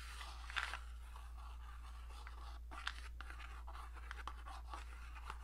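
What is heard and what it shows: Long dark nails rapidly tap and scratch the sides of a small printed cardboard matchbox held up close. The result is quiet, dry, crackly scratching broken by sharp little taps, over a steady low hum.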